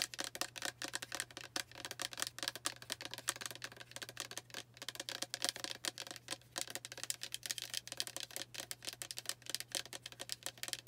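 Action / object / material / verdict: tap / plastic spray bottle with liquid / plastic / none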